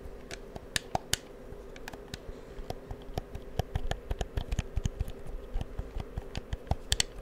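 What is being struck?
Plastic game controller buttons.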